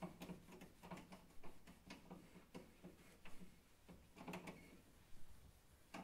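A hand wipes a cloth towel back and forth across the width of a large stainless steel control panel on the front of a kitchen oven. The result is a quiet, low-heavy series of soft rubbing strokes at an uneven pace, with a few brief, brighter swishes rising above the steady cloth-on-metal hush.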